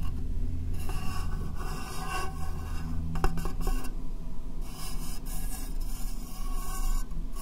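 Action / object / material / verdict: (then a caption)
scrape / clear plastic box / plastic / none. Long nails tap and scratch across the top and sides of an empty, hollow, rectangular clear plastic case. A steady, raspy scraping and rubbing runs throughout, heavy in low rumble, with a few sharper taps standing out near the middle.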